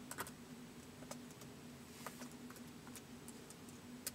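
Fingertips slowly type on a white plastic laptop keyboard, producing sparse, short, bright key clicks spaced irregularly over a few seconds. Each click is crisp and dies away almost instantly, over a quiet, steady low hum.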